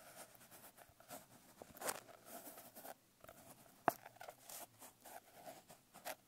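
Long nails scratch and tap across the coarse blue glitter cover of a medium notebook. Soft, dry, gritty rasps run throughout, broken by a few sharper, brief taps with bright crackly edges and almost no ring. The sound stays quiet overall.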